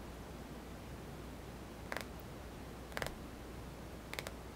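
Fingertips tap across the glass screen of a small white touchscreen mobile phone with a hollow plastic body, held in one hand. Three short clusters of light, crisp clicking taps sound over a steady low background hum.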